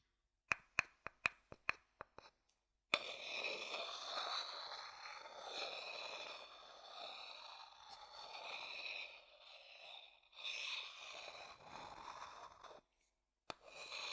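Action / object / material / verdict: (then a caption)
tap / upturned wooden bowl tapped with a wooden stick / wood / none. A thin wooden stick taps the outer base of a hollow wooden bowl held upside down, giving nine quick, sharp, bright taps with almost no ring. A steady, bright, rasping sound follows and runs for about ten seconds, then stops briefly before a short final burst.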